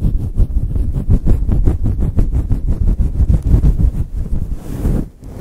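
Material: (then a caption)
Synthetic fur. Fingertips and long chrome nails scratch the sides of a fluffy grey synthetic fur windscreen on a Blue Yeti microphone in fast, aggressive strokes. Each stroke makes a deep, muffled rumbling swish, blending into a dense, rapid, low-heavy rustle with almost no bright content. The scratching briefly quiets near the end before starting again.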